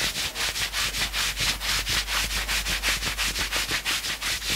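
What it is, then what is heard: Knit sweatshirt fabric scratched. Fingertips scratch quickly over the sleeve and chest of a worn knit sweatshirt. The result is a steady run of rapid, even scratching strokes with a bright, hissy, papery texture and very little low end.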